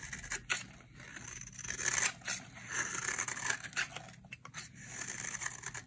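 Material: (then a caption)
Soap. A utility knife blade shaves fluffy curls off the edge of a solid, dry, cream-colored bar of soap held in the hand. The result is a series of crisp, bright scraping and rasping strokes with a papery, tearing texture and very little low end.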